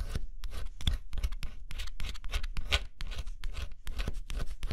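A thin pointed stylus held in the fingertips scratches the black scratch-off coating off a flat, assembled cardboard jigsaw puzzle lying on dark cloth. Quick, dry scratching strokes follow one another in steady bursts, each a bright, raspy scrape over a soft low rumble. The sound stays close and continuous throughout.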